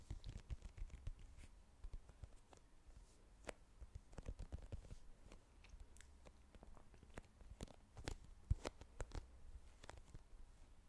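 Long nails tap quickly and irregularly on a small plastic squeeze tube with a green cap, held upright, striking both the tube and the cap. The taps are quiet, dull and very short, with soft low thuds and a few sharper, brighter clicks standing out above them.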